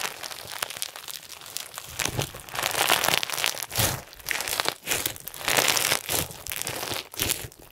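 Clear slime packed with pink and white plastic sequins, a solid soft mass, is stretched and pressed between fingers and thumbs. It gives off dense, bright crinkly crunches in rapid bursts, with louder swells as the mass is squeezed and almost no low end.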